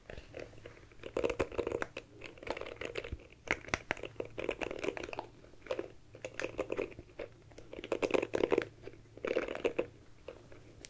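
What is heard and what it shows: Long manicured nails scratch and tap the plastic back and bristles of a small, oval, dark compact hairbrush held close to the microphone. The result is crisp, crunchy scratching in rhythmic bursts, with dry mid-range rasps and quick clicking taps separated by brief quiet gaps.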